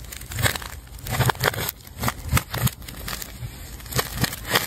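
A metal scalpel tip scrapes and cuts through the layers of a large, solid ball of layered multicolor plastic tape. Short bursts of dry, crinkly crackling and tearing come in uneven waves, with a soft low thump under each stroke and a bright edge to the scraping.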